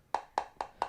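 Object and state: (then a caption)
Hollow ornament. A hollow Hallmark 2021 He-Man Castle Grayskull tree ornament in ethereal green is tapped four times, each tap a short, light, hollow click centered near 850 Hz that dies away almost at once. The ornament is hollow inside, and its bottom feels a little flimsy.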